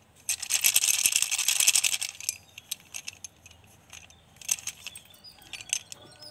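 About a dozen solid pink blackboard chalk sticks are held between both hands and rubbed and shaken above a yellow plastic basin holding more loose chalk, so the sticks clack against each other. A dense, bright rattle of short dry clicks fills the first two seconds, then thins into scattered light clacks with brief renewed flurries near the end, all with almost no low end and no ring.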